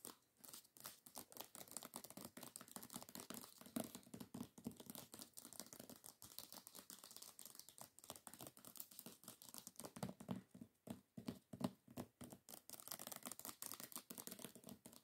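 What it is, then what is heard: Hardcover book with paper dust jacket. Fingernails tap rapidly on the cover of a solid hardcover book with a paper dust jacket. A dense, quiet stream of crisp clicks mixes with papery crinkling, and each tap dies away almost at once.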